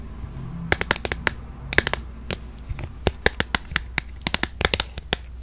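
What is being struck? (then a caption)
Smartphone in a plastic case, tapped with fingernails. A handheld smartphone in a solid, glossy purple plastic case is tapped and scratched on its back and edges with long acrylic nails. Around twenty sharp, bright clicks come in quick irregular bursts, each dying away almost instantly. Soft scratching and a low background hum run between them.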